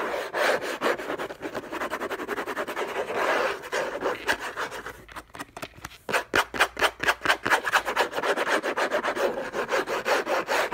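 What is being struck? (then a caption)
Cardboard box. Fingernails scratch the lid of a hollow, orange textured-paper cardboard gift box resting on a fluffy rug. Dense, dry rasping strokes come at a fast, uneven pace, with a bright papery hiss and almost no low end. After a brief quieter stretch midway, the strokes return as sharper separate scrapes.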